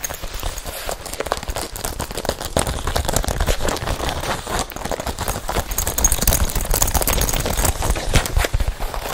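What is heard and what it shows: Long painted nails and fingertips tap and scratch the chest of a worn red leather biker jacket with metal zippers. The result is a steady, rapid patter of dull, low thuds mixed with dry, crackly scratching that runs continuously throughout, with short, quickly damped sounds.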